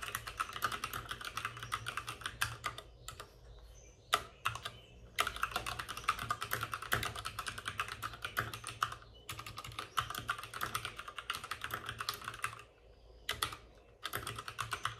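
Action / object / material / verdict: tap / plastic mechanical keyboard / plastic / none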